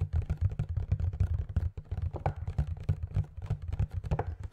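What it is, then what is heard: Cardboard display box with plastic window. Fingertips and nails rapidly tap and scratch a small cardboard Funko Pop display box with a clear plastic window and a figure inside. The result is a dense run of quick, dull, low thuds with faint crisp scratching between them, each tap dying away almost at once.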